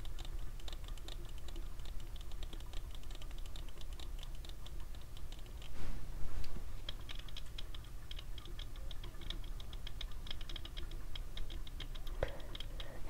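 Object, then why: Plastic sunglasses frame and lenses. Fingertips and nails tap the frame and tinted lenses of small clear/white plastic cat-eye sunglasses worn on the face, making quick, irregular, light clicking taps with a bright edge over a steady low hum. A brief louder rustle swells around the middle, and a sharper click stands out near the end.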